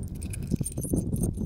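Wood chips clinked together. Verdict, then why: Petrified. Chips of petrified wood lying on the ground, which look like ordinary wood chips, are knocked and clinked together in quick succession. They give off short, hard, stony clicks with almost no ring, unlike the sound of real wood, over a low rumbling background.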